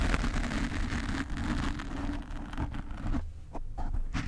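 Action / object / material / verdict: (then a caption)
scrape / foam microphone windscreen / foam / none. Fingernails of both hands scratch a black foam cover on a desk microphone. The result is a dense, muffled, low rumbling scrape with a steady brushing texture that thins briefly just past three seconds before resuming.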